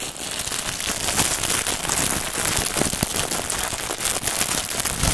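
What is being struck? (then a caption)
Plastic film wrapping. Fingertips scratch, pick and rub at the clear plastic film wrapped around a long white packaged bundle resting on a table. The result is a steady, dense crinkling and crackling with bright, high hiss and many short snaps throughout.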